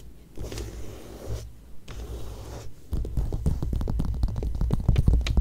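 Fingertips and long nails scratch and rub the thin pages of an open glossy paper magazine, staying on the same spread. Soft, muffled rubbing swells come in slow bursts with short pauses, then about halfway through they give way to quicker, louder, dense scratching strokes that build to the end.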